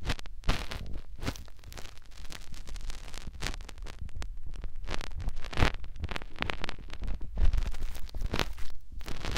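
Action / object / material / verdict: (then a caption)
scrape / soft silicone ear with hollow canal on a binaural microphone / silicone / none. A fingertip rubs and scratches inside the hollow canal of a white, soft silicone ear mounted on a white plastic binaural microphone body. Up close it makes a dense, continuous stream of low, rumbling rubs broken by quick crackly scratches and rustling bursts.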